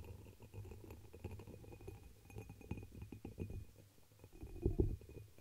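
A hollow, dark red embossed pressed-glass chalice held over the microphone is tapped and scratched with long pink nails. The sound is a steady run of soft, muffled, low thuds and scraping, with a few louder, boomy knocks near the end.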